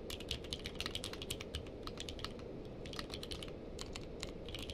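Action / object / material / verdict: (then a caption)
tap / mechanical keyboard with plastic keycaps / plastic / none. Two-handed fingertip typing on a purple-case mechanical keyboard with plastic keycaps gives a steady run of quick, bright clicks over a low, constant rumble. The keystrokes come in uneven bursts, each short and sharp with almost no ring.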